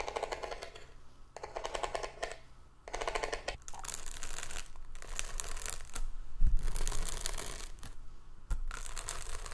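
A small hollow hexagonal cardboard gift box with ribbed paper and a glitter band is handled, then set on a table and tapped and scratched with long nails. Bursts of dry, bright scratching alternate with soft rustling and quick light taps. Low thuds are heard as the box is set down, with no talking.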